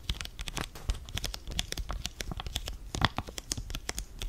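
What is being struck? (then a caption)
Foil-laminated face mask sachet. Fingers crinkle a flat blue foil-laminated sachet holding a sheet face mask and rub it against itself close to the mic. The result is a dense run of bright, crisp crackles and short snapping crinkles over a soft low handling rumble, with no ringing after each crackle.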